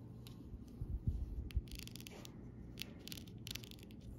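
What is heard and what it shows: A metal pen body and tip rubs and taps across a flat sheet of small rainbow plastic rhinestone stickers and larger clear gems on a clear plastic backing. Soft, low thumps come first, followed by bright, crinkly scratching and clicking bursts as the pen moves over the gems.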